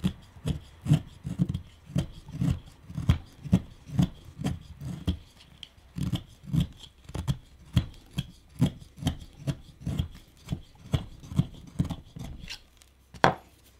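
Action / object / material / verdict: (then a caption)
scrape / wooden pipe bowl / wood / none. A chisel pares the rounded surface of a small, solid, reddish wooden pipe bowl with a cutting and scraping action. About 25 short, low, dull scraping strokes come at an uneven pace of roughly two per second, each with a faint bright edge and almost no ring.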